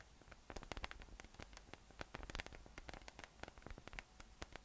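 A yellow, hollow, inflated PVC spiky massage ball with nubs rests on a table and is tapped or rubbed on top with the fingertips. The result is a quiet, rapid run of short, dry clicks and scratchy taps over a soft low hum, with bright crackle in each tap and no ring after.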